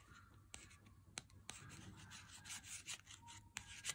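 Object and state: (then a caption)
Cardboard-sleeved chocolate bar. An unopened Lindt 90% chocolate bar in its cardboard sleeve, first lying flat on a table and then lifted and held close, is tapped and scratched on its cardboard front with a fingertip and nail. Bright, dry scratching and rubbing runs throughout, broken by sharp, quick taps that die away almost at once.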